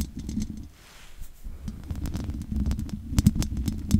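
Long nails scratch across the top and sides of the hollow metal mesh grille on a large condenser microphone. The result is a dense, low rumbling scrape with uneven bursts of sharp, bright ticks and crackles that grow louder and busier toward the end.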